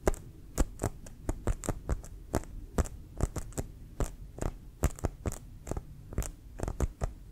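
A full-size, inflated brown composite American football with pebbled synthetic-leather skin is held and tapped and scratched with fingertips and nails. About two dozen short, dull, irregularly spaced taps land over a steady low hum, each with a quick bright tick from the nails that dies away almost at once.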